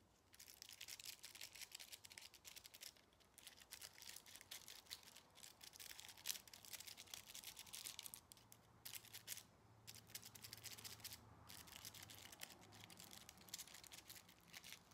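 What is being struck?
Small aluminium foil ball.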